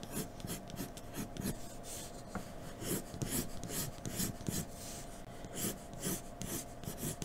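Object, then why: Graphite pencil on drawing paper. A graphite pencil in a blue extender, held by the fingertips, scratches and shades across a large, thin white sheet of drawing paper lying flat on a dark table. A steady series of short, raspy strokes produces bright, hissy bursts over a soft low rubbing.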